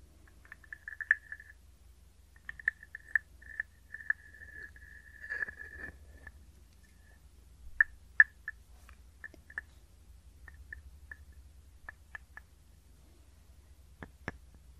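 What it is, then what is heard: Wooden frog guiro. A hand-sized hollow carved wooden frog guiro is scraped along its ridged back with a wooden stick. It gives quiet, rasping croaks pitched around 1.7 kHz, first as short ratchety strokes and then a longer drawn scrape. These are followed by sparse, dry single clicks and taps with almost no ring.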